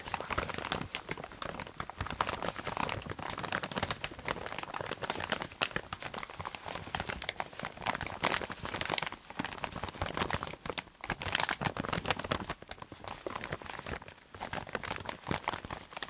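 A clear plastic zip-lock bag holding a dark red fabric item with a white label is scratched and crinkled with fingertips and nails. A dense, continuous run of crisp crinkling and scratchy rustles fills the clip, bright and steady with many quick short clicks and little low end.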